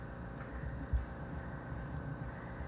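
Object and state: Nothing is struck.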